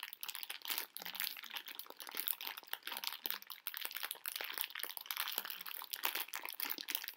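A medium pink plastic-film bag full of hard sugar conversation-heart candies is crinkled and squeezed with fingertips and long nails. Dense, bright crackling and rustling runs continuously through the clip, with rapid sharp crinkles that stop almost instantly. There is almost no low end.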